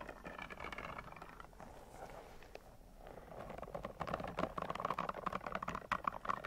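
A long, pink, soft rubber spiky caterpillar toy is held up in the air with both hands while long nails scratch and rub its spikes. Quiet, dense scratching and rubbing clicks start soft and grow louder and brighter in the second half, with a steady mid-pitched squeak-like tone.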